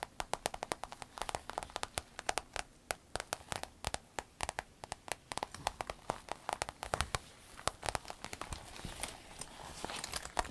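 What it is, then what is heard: Vinyl waist bag tapped and scratched with nails. Long acrylic nails scratch and rub across the glossy front panel of a rainbow holographic vinyl fanny pack (waist bag) lying flat, soft, hollow and apparently empty. Dozens of quick, dry, crackly clicks and ticks sound with a bright edge and no ring. Toward the end they blur into a steadier rustling scratch.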